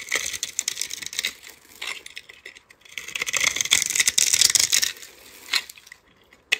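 A metal utility-knife blade scrapes across the pre-scored surface of a palm-sized, solid lime-green soap bar with a dark glitter coating, held in hand. Bright, dry crackling scrapes and crisp little snaps come in uneven bursts, with no low end. Small cubes break off the bar.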